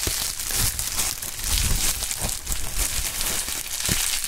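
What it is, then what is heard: Plastic bubble wrap being crinkled. A pink plastic bubble wrap sheet with a small label is held between gloved hands and crinkled and squeezed with the fingertips. The result is a steady, dense crinkling with bright crackles over soft low thumps, all at a fairly even level.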